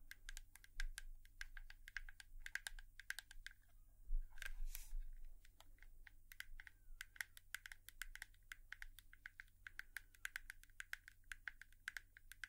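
A hairbrush is tapped with long nails in a quick, irregular run of light, crisp clicks that carry bright edges and die away almost instantly. A steady low hum sits under the tapping throughout, and a louder, brushier burst comes briefly around the middle.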